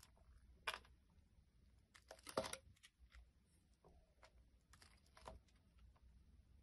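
A utility blade scrapes around the rim of a solid round green soap, held in hand, with a crumbly yellow-green outer layer, as cut pieces lie nearby. Soft, dry scraping and crumbly crunching come in irregular, uneven strokes, with a few louder bright scratches standing out against a quiet background.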